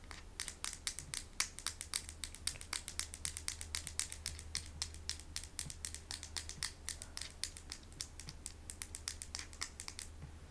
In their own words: i'm now going to be doing some tapping on some stones